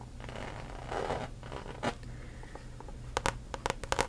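Long acrylic nails scratch and tap across the front face of a medium-size, hollow rainbow-print coated canvas handbag with a zipper top, held upright. Soft, rustling scratches over the first two seconds give way to a quieter stretch, then a run of crisp, bright taps in the last second.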